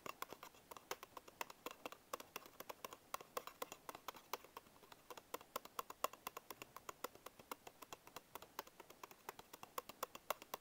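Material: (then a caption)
Paperboard. Fingertips and short nails tap and scratch the printed front panel of a small paperboard Bisco biscuit box held in one hand. About 74 quick, quiet, dry taps come in an uneven, steady stream, each with a hollow papery knock in the midrange, a crisp bright edge and almost no ring. Soft scratching fills the gaps, with very little low end.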